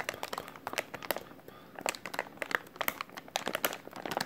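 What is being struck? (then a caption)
Plastic film packaging pouch. A white plastic-film packaging pouch with printed text is held in both hands while fingers squeeze and crinkle it. A rapid series of sharp, bright crinkles and crackles with almost no low end eases into a quieter stretch midway, then picks up again.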